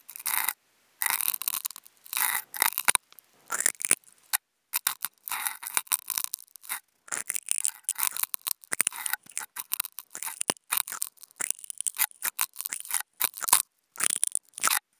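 Two toothpicks fitted with contact mics are scraped and scratched across a white nonwoven fabric sheet. Dry, bright scratching comes in quick bursts separated by short silences, with nothing in the low end. The rough, raspy texture sits mostly in the high range.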